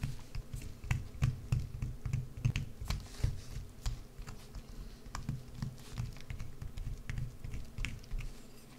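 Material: Soap.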